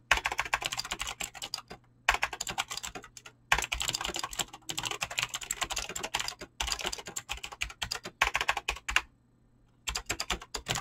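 Fast fingertip typing on a Razer BlackWidow mechanical keyboard with clicky green switches and pink-blue dyed PBT plastic keycaps. Rapid bursts of sharp, bright clicks come in flurries separated by short pauses, with a faint low hum underneath.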